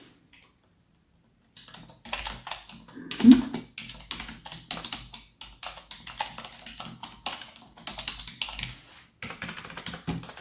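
Gloved fingertips type rapidly on a black plastic full-size keyboard resting on a desk. Quick, dry key taps and clicks come in dense, bright bursts after a short silent start, with brief pauses between runs.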